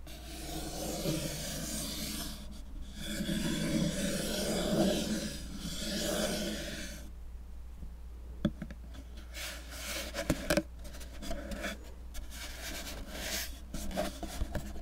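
A small, dark, hollow cardboard cube box is held close to the microphone and scratched and rubbed with fingertips and nails. For about the first seven seconds there is steady, raspy rubbing. Then it gives way to quieter, sparser scratching punctuated by sharp, short clicks.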